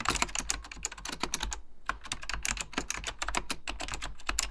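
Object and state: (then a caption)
Plastic mechanical computer keyboard. Fingertips type continuously on a beige plastic full-size Apple Extended Keyboard II, its hollow plastic keycaps over mechanical switches giving quick, bright clacks with a low thud beneath each press. The keystrokes come in fast, uneven bursts with a brief pause midway, each click dying away almost instantly.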